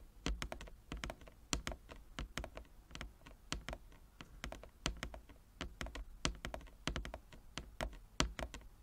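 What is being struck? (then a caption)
Wooden chess board with inlaid squares. Long nails tap rapidly with both hands across the inlaid squares of a large, flat wooden chess board. Many short, dry clicks sound with a low woody thump beneath them. Each tap dies away almost instantly.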